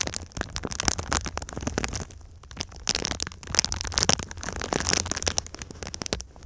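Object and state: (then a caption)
Foil-faced foam insulation sheet. A flexible silver foil-covered foam insulation sheet, bent into a V shape over the microphone, is tapped and scratched across its crinkled foil surface by long pink nails. The result is a dense stream of sharp, bright crackles and clicks with a low rumble underneath, pausing briefly around the two-second mark before picking up again.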